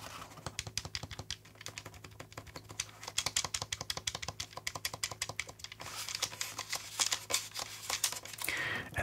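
A black plastic Steam Deck OLED handheld is held in one hand while a thumb repeatedly presses and taps the A/B/X/Y face buttons on its right side. The result is a rapid, uneven run of sharp, bright plastic clicks with a faint low hum underneath.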